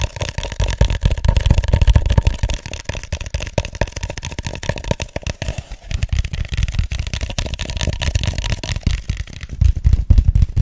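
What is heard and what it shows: Fingertips and nails tap and scratch the sides of an empty, hollow white styrofoam cup held upside down. The result is a dense, rapid stream of soft, hollow thumps with a low, boomy body, broken by brief scratchy rustles. It eases slightly midway, then builds again toward the end.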